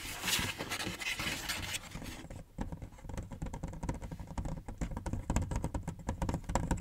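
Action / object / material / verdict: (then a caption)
tap / large cardboard box / cardboard / none. Fingertips and short nails tap and scratch across the top and front of a large, hollow printed cardboard PS5 console box lying flat close by. The first two seconds are a bright, hissy scratching. It then turns into a rapid patter of short, dull taps with a low, hollow thump behind them.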